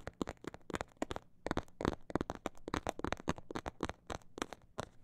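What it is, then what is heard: Faux leather pouch tapped with nails. Long black nails tap and scratch a small, hollow, soft snakeskin-print faux leather bag or phone pouch. The result is a quick, irregular run of sharp, dry clicks, mostly fast with a few slower gaps. Each click cuts off almost at once, with a faint low hum underneath.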